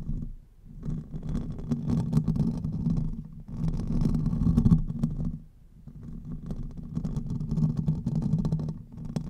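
Fingertips and nails of both hands scratch the hollow domed metal mesh grille of a silver USB condenser microphone held upright. The result is a dense, low, rumbling scratch centered near 156 Hz. It swells and fades in waves, dipping quiet in brief pauses between bursts of rubbing.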